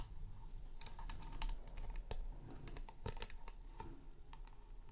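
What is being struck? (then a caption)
Round chrome-rimmed light base with frosted plastic top. Fingertips and nails tap and scratch the frosted glowing top and chrome rim of a round, hollow chrome LED light base. Quick, irregular, sharp clicks with bright edges and short decays sit over a steady low rumble.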